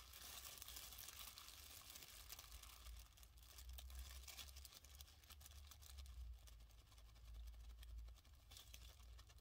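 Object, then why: Thin plastic bag. A thin, empty, hand-sized white printed plastic dentist bag with a Crest/Oral-B logo is held in both hands and crumpled and rubbed with the fingers. It makes continuous crisp, bright crinkling and rustling over a steady low hum for the whole clip.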